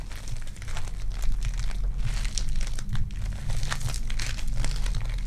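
A solid lump of lavender sticky foam clay (polystyrene bead clay) is squeezed and crushed in the palms and fingertips with long dark nails. It gives a dense, continuous crinkling and crunching crackle with bright, grainy bursts over a steady low rumble.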